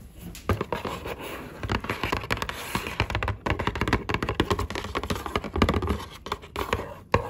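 Long acrylic nails rapidly tap and scratch the printed surface of a small, hollow cardboard box of Belgian cocoa-dusted truffles. The clip is a close, dry patter of quick taps mixed with scratchy rubs, each tap hollow and short with little ring.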